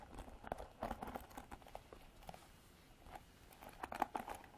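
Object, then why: Plastic paddle hairbrush with bristle pad. Long nails scratch and strum the black bristle pad of a plastic paddle hairbrush with a white plastic body. The result is a quiet series of quick, dry plucking ticks and scratchy flicks with a mid-pitched tone, the loudest bursts coming near the start and end.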